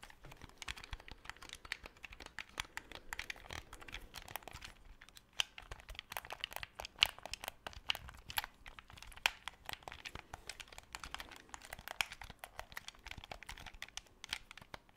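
Fingertips click the buttons and tap the shell of a black, hollow plastic Xbox 360 controller held close to the microphone. A quiet, steady stream of dry, bright clicks and crinkly taps follows, each dying out almost instantly, with a few sharper, louder clicks standing out toward the middle and end.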